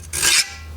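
A file is run across the hardened edge of a forged sucker-rod steel cold chisel, giving one short, bright, high rasping scrape over a faint low hum. The file skates and slides right off, especially at the back, showing the steel is hard.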